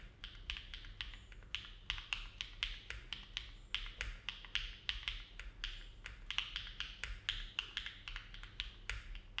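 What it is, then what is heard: Mechanical keyboard with plastic keycaps. Fingertips of both hands type steady key presses on a compact Neo70 mechanical keyboard with an aluminum case and plate, foam filling, and hollow-sounding ABS plastic keycaps, resting on a desk mat. Around 38 short, bright clacks with a hollow tone centered near 2.7 kHz fall at an even, unhurried pace. A faint low hum sits beneath them throughout.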